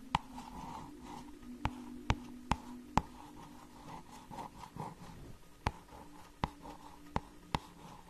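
Long nails scratch and tap the glossy cardboard cover of a small hardcover children's book. Soft, steady scratching with a hum around 855 Hz runs throughout, broken by nine sharp, dry taps with almost no ring.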